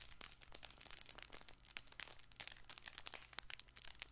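A colorful stuffed fabric plush baby ball toy is squeezed and scratched with fingertips and painted nails. It gives a dense, bright crinkly rustling, with many sharp little crackles that die out almost instantly over a faint low hum.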